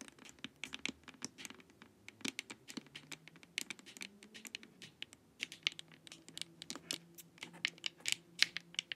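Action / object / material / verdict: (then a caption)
scrape / hollow plastic face mask / plastic / none. Long nails scratch and tap across the top and sides of a glossy, hollow plastic LED face mask. Quick, dry, bright clicks and scrapes come in an irregular, steady stream at a quiet level, each dying away almost instantly, with a faint low hum underneath.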